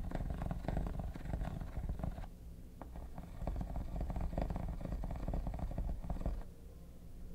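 Metal tweezers scratch the textured top of a hollow, mint-green quilted hard plastic vanity case, making a rapid, dense run of gritty scrapes with a deep, hollow low-end rumble and a faint tone near 715 Hz. The scratching eases briefly around the two-second mark, picks back up, and fades to a quieter rasp in the last second.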